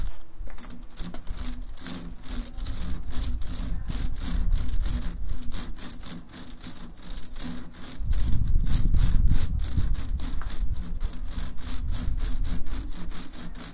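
A large, hollow, empty woven wicker (rattan) basket with handles hangs on a rough orange wall while fingertips and nails scratch and rub along its woven strands. The result is a steady, rapid, saw-like rasping of short bright strokes over a low hum that swells louder partway through.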